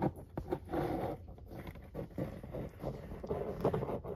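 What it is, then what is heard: Cardboard pizza box being scratched. A capped marker pen tip traces and scratches along the printed lines of a large, flat corrugated cardboard pizza box lid. Soft, dry scraping strokes rise and fall in quick bursts, with a few sharper taps, over a low background hum.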